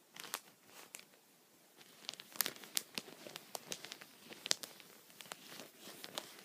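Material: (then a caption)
Plastic. A wooden pencil tip taps and scratches a thin, clear plastic sheet protector (punched pocket) lying on a towel, while the other hand holds it flat. The result is a quiet string of sharp, bright crinkly clicks and scratchy rustles with almost no low end, each tap dying away at once.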